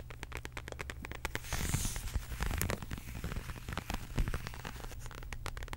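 A medium, flat, hollow beige quilted faux leather zip wallet is tapped and scratched with long acrylic nails. Rapid, crisp clicks and dry scratching rustles come in quick bursts with bright, short-lived transients, over a steady low hum.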